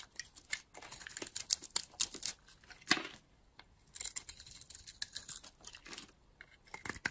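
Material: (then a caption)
Soap. A utility-knife blade cuts and scrapes curls off a solid blue and green bar of dry soap held in the hand. The result is a run of quiet, bright, crisp scraping and crunching bursts with almost no low end, pausing briefly midway before resuming.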